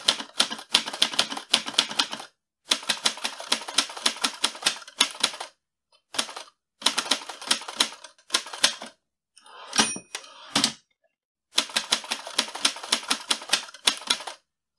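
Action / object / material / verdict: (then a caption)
tap / manual metal typewriter / metal / none. Fingertips type on the keys of a mint-green portable metal manual typewriter with a hollow mechanical body, producing quick bursts of sharp, bright clacks separated by short pauses. Near the middle, a brief ringing tone and a longer sliding mechanical sweep break up the typing before the rapid clatter resumes.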